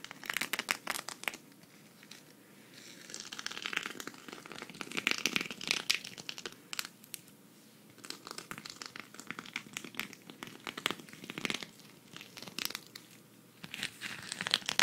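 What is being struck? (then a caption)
Sequin fabric patch scratched with fingernails. A flat, thin, hand-sized green sequin fabric cactus patch, held at the side, is scratched with long red nails. It makes dense, bright, crinkling scratches in bursts of rapid clicks, with a few quieter stretches between them.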